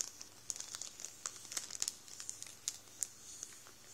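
An open hand rubs and presses the plastic of a full Warburtons bread roll bag with its fingertips, crinkling it. The result is a quiet, bright, crackly rustle with many sharp little snaps scattered over a steady hiss, and almost no low end.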